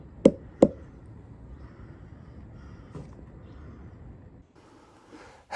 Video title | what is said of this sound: Is this the RIGHT THING to DO? | this whole side wherever I thump it you can hear Hollows and you can hear Decay